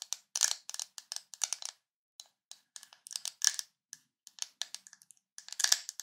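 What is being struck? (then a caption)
Ridged plastic screw lid on a jar. Fingernails scratch along the ridged side of a white ridged plastic screw lid on a full Nutella jar. Quick, dry, bright rasping strokes come in irregular bursts with short silences between them, some strokes longer and louder than others. There is no low end, and each rasp stops almost instantly.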